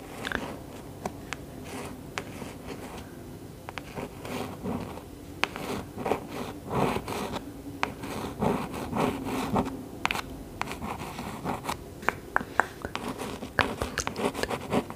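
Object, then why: Cloth-covered hardcover book. A long nail traces and taps over the gold-embossed cover of a large green hardcover cloth book of Grimm's Fairy Tales, held upright. Soft, dry scratching and rustling drags across the surface, punctuated by sharp, bright clicky taps. The taps stop almost instantly with no ring.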